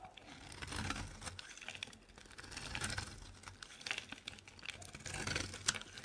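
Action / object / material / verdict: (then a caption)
scrape / bar soap carved with a metal blade / soap / none. A metal blade scrapes and carves a solid, dry purple bar of soap, making a dense run of crisp, gritty crunching and scratching strokes that are mostly bright and high. The strokes swell and fade in short bursts as crumbly shavings break away.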